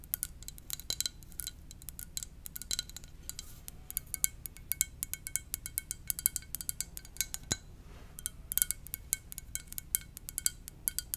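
A ceramic mug shaped like a VW van is tapped gently with the fingers in a quick, irregular rhythm. The taps are many short, bright clicks that die away almost at once, over a faint low hum.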